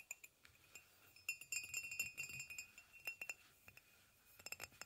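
A hollow white ceramic mug resting on a blanket is tapped with fingernails on its body and near the handle. Quiet, bright clinking taps come in irregular bursts, each with a short ring around 2.7 kHz that fades quickly.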